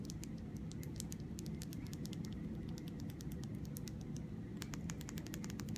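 Long red nails tap and scratch the glass body of a small glass nail polish bottle with a black cap, filled with red polish. Quick, light, bright clicks patter in uneven bursts over a steady low hum.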